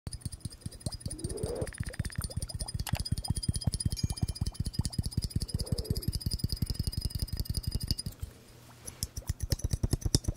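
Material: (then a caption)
Glass. A glass bubble hourglass is tapped in a fast, uneven stream of short, dull taps with a low, thudding body and almost no ring. Warbling, rising tones surface twice among the taps, and the tapping pauses briefly near the end before resuming.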